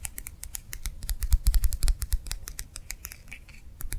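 A small, round, clear plastic gel-filled hand warmer pad, held in one hand, is tapped and scratched with long nails. The result is a fast, irregular run of sharp, bright clicks and light scratches over soft, low thumps, each tap dying away almost instantly.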